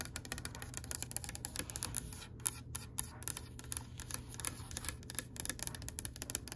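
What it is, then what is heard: Oak wooden tabletop tapped with nails. Long pale pink acrylic nails tap and scratch across a solid oak-grain wooden tabletop. Rapid, dry, bright clicks with almost no ring are heard over soft scratching and a steady low hum.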